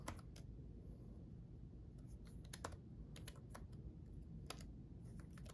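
Both hands type rapidly with their fingertips on the red-backlit plastic keys of a black gaming laptop keyboard built into a solid laptop body. Quick, bright, short clicky taps come in uneven bursts over a steady low hum, and the overall level stays quiet.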